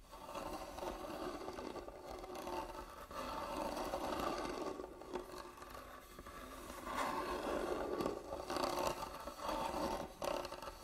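Long nails scratch across the carved lid top of a closed, hollow, medium-sized hand-carved wooden jewelry box resting on a table. A continuous, uneven scraping runs throughout, centered in the mid-range with brief quieter pauses between strokes.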